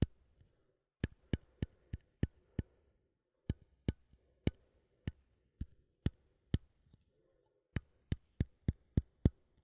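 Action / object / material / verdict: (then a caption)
tap / small metal coffee tin lid / metal / none. A small cylindrical metal coffee tin has its lid tapped and clicked with a fingernail, lid facing forward. Twenty short, dry taps come in loose groups separated by brief pauses, each a quick bright click over a soft, low hollow thump that dies away almost instantly.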